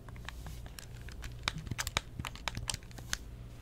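A closed pink plastic Nintendo DS Lite is held in both hands while long nails tap and scratch its glossy plastic surfaces. Quick, dry clicks with bright ticks come at an uneven pace over a low, steady hum. Each tap is short with no ring.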